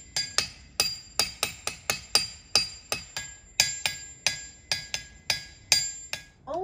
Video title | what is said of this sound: The Sound of Science: Ringing Rocks Park | Only about a third of these rocks actually ring